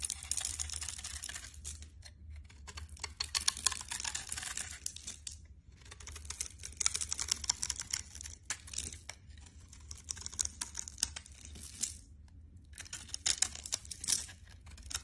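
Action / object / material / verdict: scrape / bar soap / soap / none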